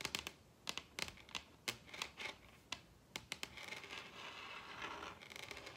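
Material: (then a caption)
Wood. Long red acrylic nails tap a large, solid wooden dining tabletop with both hands, producing sharp, bright clicks with very little low end and almost no ring. Isolated taps come in quick bursts at first, then blur into a denser, continuous scratchy rustle of nails over the wood toward the end.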